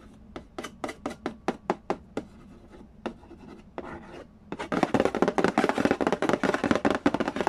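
Fingertips tap and nails scratch the lid of a hollow cardboard Candy Land board game box. Sharp, dry, evenly spaced taps come first, then a brief raspy scratch. The clip ends in a dense, louder flurry of rapid tapping and scratching with bright, papery edges.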